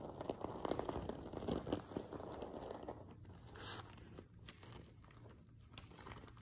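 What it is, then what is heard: Sequin-covered pillow being scratched. Fingertips and nails scratch across the front of a silver sequin-covered fabric pillow, producing dense, crinkly scratching and rustling with a faint high hiss. The scratching is fullest and busiest in the first three seconds, then thins to lighter, sparser strokes toward the end.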